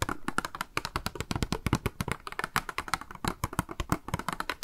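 Long manicured nails rapidly tap and scratch a small, hollow, clear pink plastic cube box held in the hands, with a pink makeup sponge inside. The result is a dense run of quick, dry, hollow clicks with a low knock beneath them and almost no ring between strikes.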